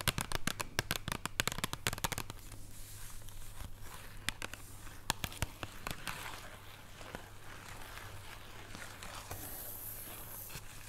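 A flat, solid chocolate bar still in its paper and cardboard wrapper rests on a wooden table and is tapped and scratched with long painted nails. A quick run of sharp, dry taps opens the clip, then gives way to softer papery scratching and rustling, with a few more crisp taps midway. A steady low hum sits underneath, and a brighter hiss rises near the end.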